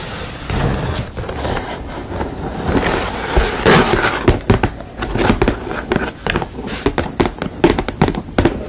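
Long nails tap and scratch the painted front of a sugar-skull painted canvas panel. A steady dry scratching rasp runs underneath, while the second half is dotted with many sharp, bright clicking taps at an uneven pace.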